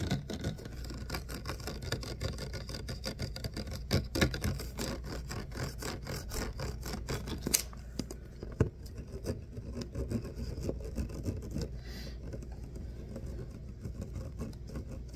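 Fingernails scratch the ribbed body of a clear plastic water bottle, held first sideways and then upright. The result is a dense run of quick, raspy ticks and scrapes over a steady low hum, with a few sharper clicks standing out before the scratching softens in the second half.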